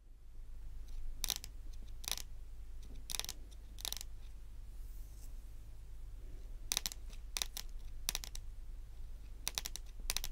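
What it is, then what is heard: Fingernails tapping a wooden tabletop. Very long, pointed acrylic nails tap and click on a solid, dark wood-grain tabletop. The sound comes in short bursts of sharp, bright clicks that die away almost instantly, over a steady low hum.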